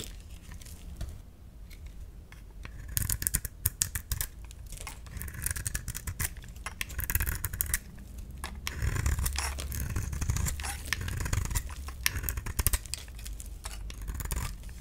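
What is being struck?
Bar of soap shaved with a knife blade.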